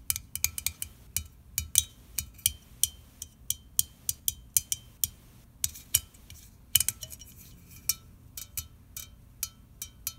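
Fingernails tap and scratch the metal lid and pull tab of a small red aluminium soda can, unopened and likely full, held in the hand. About thirty quick, bright metallic clicks ring out in an irregular rhythm, each dying away almost instantly, with soft scratching in between.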